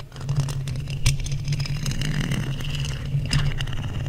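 Two wooden skewer sticks scratch across a hollow black metal mesh microphone grille. The result is a steady, close, low-heavy rumble with a dense crackling scrape on top, broken by occasional brighter ticks.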